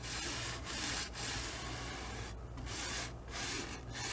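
A wide flat bristle brush is stroked back and forth across the lower part of a medium stretched cotton canvas on an easel, spreading wet oil paint. The result is a steady, bright, scratchy rubbing hiss with brief dips between strokes over a faint low hum.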